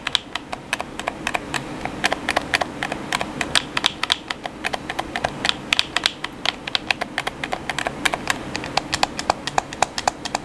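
Fingertips tap rapidly on the buttons of a hollow black plastic PS4 controller. The result is dozens of sharp, dry plastic clicks that stop instantly, with bright highs, over a faint low hum.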